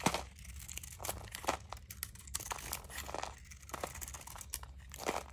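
A utility knife blade shaves and scrapes thin, crunchy curls from the surface of a solid blue dry soap bar held in the palm. Short, dry, crisp scraping and crinkling bursts come in quick succession, with a bright edge and almost no ring. A faint low hum runs steadily underneath.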